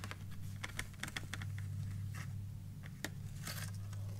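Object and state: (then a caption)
Cardboard box tapped and scratched. Long manicured nails and fingertips tap and scratch the top of a closed, flat white printed merci cardboard chocolate box lying on a wooden table. Sharp, dry clicks and brief scratches ring for almost no time over a steady low hum.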